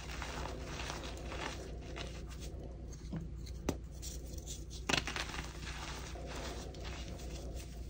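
Two chalk-covered hands press, rub and squeeze a loose, orange-tinted heap of crushed gym chalk (magnesium carbonate powder) with small crumbly chunks, using fingertips and palms. The result is a steady, soft, gritty crunching and rustling over a constant low hum, broken by a couple of sharper crackles as pieces crumble.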